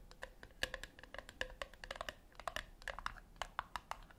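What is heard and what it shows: Long nails tap and scratch the top lid of a flat, round, brushed-metal tin that is likely hollow. Quick, light clicks with a bright metallic ping around 1.7 kHz come in an uneven stream, mixed with soft scratching. About 26 short taps stand out, each dying away almost at once.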